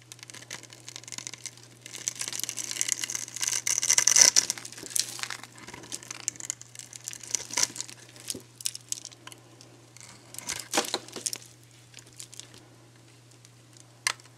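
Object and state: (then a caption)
Dry soap bar scraped and cracked. A metal box-cutter blade scrapes and cuts across a dry, solid, hand-sized purple soap bar with a carved grid pattern, held in one hand. The result is bright, dry scratching and crumbly crackles in irregular bursts, busiest in the middle and ending with a sharp snap, over a faint steady low hum. The bar ends up cracked into chunks.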